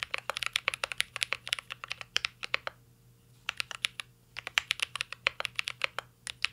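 Fingertips type continuously on a mint-green mechanical keyboard with plastic keycaps and an aluminum case, producing rapid, crisp, bright clicky taps. The typing pauses briefly in the middle before resuming at the same quick pace.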